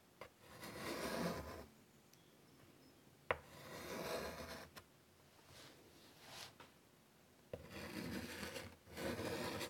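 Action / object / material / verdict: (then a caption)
scrape / chalk stick on a wood-framed chalkboard / chalk, slate / none. A white chalk stick held in the fingers scratches short strokes across a large, flat, wood-framed chalkboard. Each stroke is heard as a dry, gritty scrape that rises and fades over about a second, with a few sharp taps where the chalk meets the board, and quiet pauses in between.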